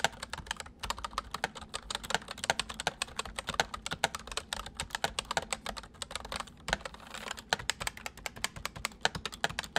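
Fingertips type quickly on the main keys and numpad of a full-size white plastic mechanical keyboard with white keycaps resting on a wooden desk. The sharp, bright key clicks come in a dense, continuous stream, with a brief pause near the middle. Each keystroke dies away almost instantly.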